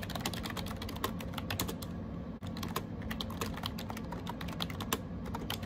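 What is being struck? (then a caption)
Plastic keyboard with round keycaps. Fingertips type rapidly on a gray AJAZZ 308i wireless Bluetooth keyboard with round plastic keycaps. The result is a steady stream of short, crisp clicks and taps over a low, constant hum, with a brief drop to near silence around 2.4 seconds.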